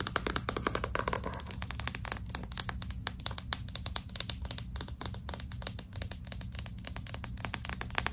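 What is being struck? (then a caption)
Hardcover book with glossy cardboard cover. A hardcover book with a glossy cardboard cover is held upright while long pink nails scratch and tap its front cover, with some gripping of the spine. Rapid, dry, bright clicks and short scratching strokes come in quick irregular bursts over a steady low hum, each tap dying away almost instantly.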